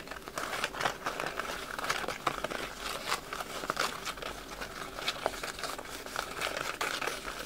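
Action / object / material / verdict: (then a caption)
scrape / paper wrapping paper / paper / none. Crumpled red patterned wrapping paper is held in both hands while fingertips rub, crinkle and scratch it close to the microphone. The result is a dense, steady stream of dry, bright crackles and crinkles with sharp little snaps throughout, and almost no low end.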